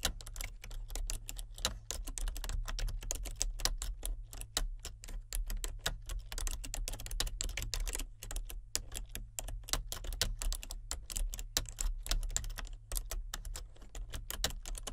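Fingertips with painted nails type continuously on a full-size plastic computer keyboard with clicky, color-changing backlit keys. A dense, steady stream of sharp, bright key clicks plays over a constant low hum, with only brief pauses.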